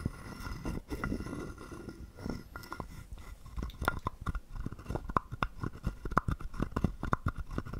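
A wooden stick scrapes along the ridged back of a small, hollow, carved wooden frog guiro held in the palm. Soft, muffled rasping early on gives way to a quick run of dry, clacking ticks with a hollow tone around 1 kHz. Each tick stops dead with almost no ring.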